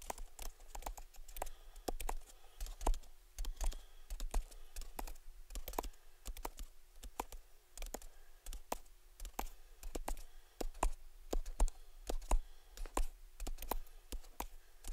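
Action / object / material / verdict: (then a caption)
tap / small cardboard gift box / cardboard / none. A small, hollow cardboard gift box with a ribbon bow is held in both hands and tapped rapidly with fingertips and nails on its lid and sides. The result is a quiet, steady stream of short, dry, clicky taps at an uneven pace, each with a soft hollow thump underneath and almost no ring.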